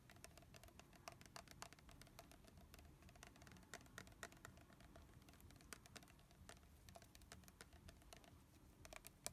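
Fingernails rapidly tap a tall red translucent plastic body mist bottle with a silver spray pump and a leaf label, partly filled with liquid and held in the hand. Quick, dry clicks with a bright edge come in an uneven, steady patter, each dying away almost instantly over a soft low rumble.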